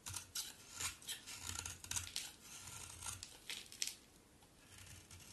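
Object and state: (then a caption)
Bar soap being shaved. A solid pink-brown bar of soap, held in the hand, is shaved with a utility knife blade, producing crunchy flakes. A series of quiet, bright, crisp scraping crunches come in short uneven strokes, each cutting off quickly, with a faint low hum underneath.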